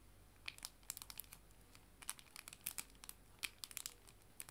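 A clear plastic cello bag holding paper art prints is crinkled with fingers and nails, giving quiet, bright, crackly crinkles. About twenty short, sharp crackles fall at irregular intervals over a faint, steady background, each ending almost instantly with no ring.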